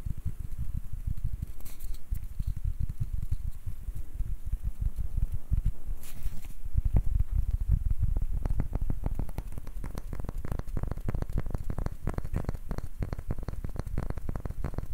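A palm-sized, round, light wooden ball with a ribbed, ridged surface is held in both hands while fingertips tap and short nails scratch across it. The result is a steady, dense patter of soft, dull, low-pitched taps mixed with brief bright scratching. The taps become crisper and more distinct in the second half.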